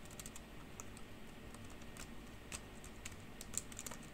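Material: Plastic.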